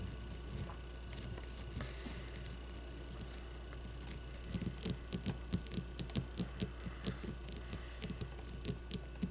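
Long nails tap rapidly on the cover of a solid leather baseball with a logo print. Soft, dry scratching and faint taps fill the first half. Then come crisp, short clicks with a bright edge, over a steady low hum.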